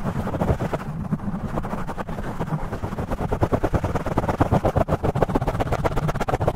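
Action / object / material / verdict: scrape / foam microphone windscreen / foam / none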